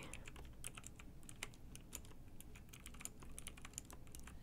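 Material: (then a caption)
Plastic. Fingertips with long nails type on a pink mechanical keyboard with round plastic keycaps and a light bar. The result is a steady stream of quick, bright clicky taps over a faint low rumble, with a few sharper keystrokes standing out.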